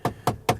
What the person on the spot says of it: very soft on the top but this inlay here seems a bit Hollow if I tap it